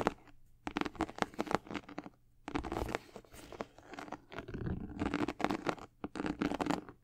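Long acrylic nails scratch along the side panels and swoosh of a high-top sneaker with a white leather and gold and black patent leather upper. Bursts of quick, dry scratching and tapping strokes alternate with brief quiet pauses and a few longer rasping drags. Each stroke stops short, with no ring after it.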